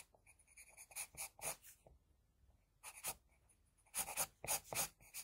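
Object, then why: Graphite pencil on drawing paper. The graphite tip of an HB wooden pencil makes short hatching strokes on a flat sheet of drawing paper bearing a pencil sketch. Twelve bright, dry scratching bursts come in uneven clusters with quiet gaps between them, each stroke stopping abruptly with no ring.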